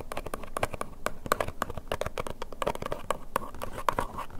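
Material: Cardboard.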